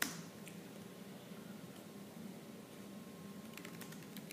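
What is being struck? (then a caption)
Plastic laptop keyboard. Both hands type fast with fingertips and nails on a laptop keyboard with black plastic keys. The result is a quiet, dense stream of soft low clicks and thuds, with brief bright ticks and a faint steady tone underneath. A sharper tap opens the clip.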